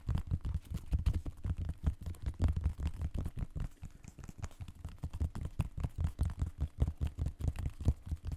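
Fingertips scratch and tap the mesh upper and sole edge of a hollow blue and white synthetic mesh sneaker held against the mic. The result is a fast, uneven stream of deep, muffled thumps with almost no ring, all boomy low end, with faint scratchy rustle between the taps.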